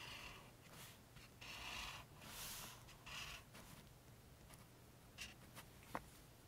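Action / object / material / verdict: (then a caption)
scrape / felt-tip highlighter on a paper book page / paper / none. A pink felt-tip highlighter makes long, slow strokes across the rows of printed paper pages in an open paperback guide, while fingertips rest on the facing page. Soft, bright, scratchy swishes rise and fade with each stroke over a quiet hiss, followed by a few faint short ticks near the end.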